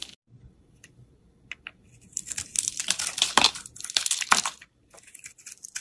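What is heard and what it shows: A snap-off utility knife blade shaves thick slices off a solid rectangular green Lifebuoy bar soap held in the hand. Faint scrapes give way to a dense run of bright, crisp crackling and crunching cuts, each one short and dry, before the sound thins out to lighter scraping at the end.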